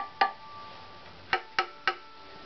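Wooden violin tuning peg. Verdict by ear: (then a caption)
Low. A wooden violin tuning peg is tapped four times, each tap a short, dry knock with a brief ringing tone around 800 Hz that dies away quickly. Its tap tone is judged very low, even lower than the previous peg's.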